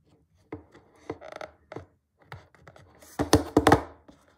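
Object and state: Cardboard box.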